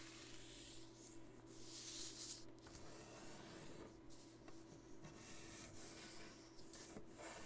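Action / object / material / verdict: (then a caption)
scrape / thin folded paper sheet on a wooden table / paper / none. Fingertips and fingernails press and rub along the fold of a thin blue origami paper sheet, folded into a triangle and lying flat on a wooden table, to crease it. The result is a quiet, uneven run of soft, bright rubbing and scratching strokes with papery hiss, over a steady low hum.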